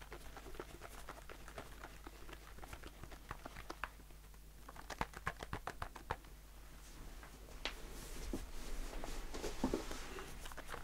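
A blue aluminium aerosol shaving foam can with a plastic cap, held in the hand and tapped with the fingertips. It produces quick, light, dry taps with a short metallic tick and almost no ring. The taps come in irregular bursts over a low steady hum, then give way to softer rustling and brushing toward the end.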